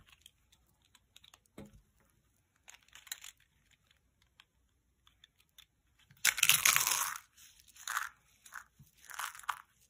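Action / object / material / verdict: scrape / dry soap curls and flakes / soap / none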